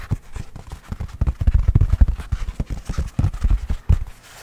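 A full roll of white toilet paper on a hollow cardboard core is held in one hand and tapped on its outer surface with the fingertips and nails. This makes a quick, loosely rhythmic run of soft, dull thumps like clip-clopping hooves. The taps are deep and muffled, with almost no ring or brightness.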